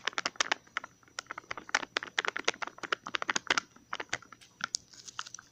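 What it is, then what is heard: Plastic tub. Fingertips and nails tap and scratch the lid and sides of a small, hollow green plastic tub with a ridged, labeled lid. The result is a fast, irregular run of short, dry, bright clicks and light scrapes that stop almost instantly, with no low end.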